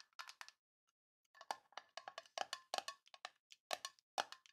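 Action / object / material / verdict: tap / small tin metal box / tin / none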